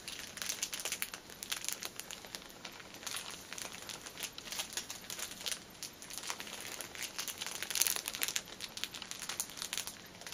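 A long fingernail taps and scratches across the tops of a six-pack of paper pocket tissues in a plastic film wrapper, lying flat on a table. The result is a steady stream of quick, bright plastic crinkles and crackling taps, mostly high with almost no low end, peaking in a louder scratch near the end.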